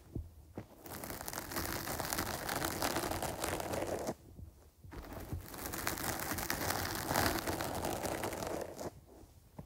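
Long nails scratch across a dark, porous foam windscreen fitted over a microphone, which is held in both hands. The result is a dense, crackly, broadband scraping hiss that reaches into bright highs, heard in two long sustained passes separated by a brief near-silent pause, with a short quiet tail at the end.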